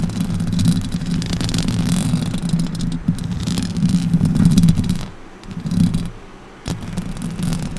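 Long orange acrylic nails scratch the metal mesh grille of a silver Blue Yeti microphone. They make a dense, continuous scraping rumble that is heavy in the low end, with a steady low hum-like tone beneath the rough texture. The scratching quiets briefly in the middle, then resumes abruptly with a sharp scrape.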